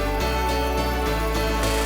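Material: Nothing is struck.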